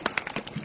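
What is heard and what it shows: A container of sauce mixed with water and ice is shaken hard, giving loud, bright rattling bursts. Five distinct shakes are audible. It is shaken until the rattling grows quieter, which shows the sauce has thickened and come together.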